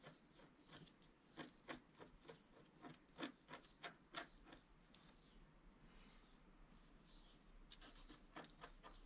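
A wooden stylus makes fine scratches across a flat scratch-art card of black wax-coated paper, which rests on a cloth-covered table while the other hand holds the sheet. Quick, irregular, dry rasping strokes are heard, with bright scratchy edges. Some strokes come in a denser, louder run in the middle before the scratching thins out and picks up again near the end.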